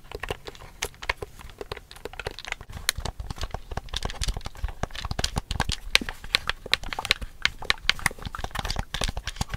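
Long fingernails tap and scratch the casing and screen of a large, hollow black plastic Wii U GamePad held in both hands. Rapid, dense plastic clicks and taps with bright, sharp tips and short scratching strokes run continuously, each tap dying out almost instantly.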